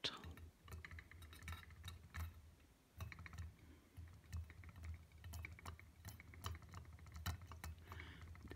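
A copper-colored metal tealight holder is tapped lightly and repeatedly. The taps make quick, bright clicks with short rings over a steady low hum. The taps are close together and uneven, and their level rises and falls throughout.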